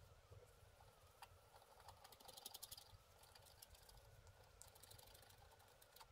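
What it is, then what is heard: Wax-coated scratch art card being scratched. A thin wooden stick scratches away the black layer of a flat, wax-coated black scratch art sheet, about A4 in size, lying on a table while the other hand holds the sheet still. Quiet, dry, bright scratching strokes come in quick irregular bursts, with a soft low rumble underneath.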